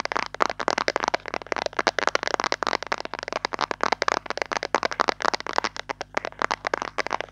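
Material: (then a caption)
Plastic. Long nails tap rapidly on a round white Dove plastic cream jar with its lid on, held in both hands. The result is a fast, continuous stream of dry, bright clicks with no ring, over a faint steady low hum.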